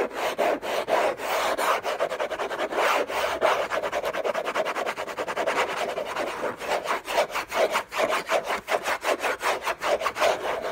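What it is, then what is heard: Cardboard box scratched with fingernails. Short fingernails, on a hand wearing a bracelet, scratch hard and fast across the large, flat, hollow lid of an orange Hermès cardboard gift box. A dense, rasping series of scratchy strokes carries a papery mid-range tone around 640 Hz with a bright hiss. The strokes come in quicker, more separated bursts toward the end.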